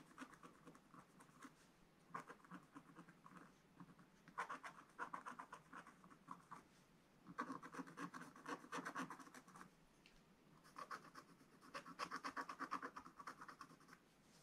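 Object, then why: Black-coated scratch paper scratched with a wooden stylus. A wooden stylus scratches small areas of a black-coated scratch-art paper page in a spiral book. Quick, dry scratching strokes come in bursts with short pauses between them, centered in a raspy midrange with some bright hiss.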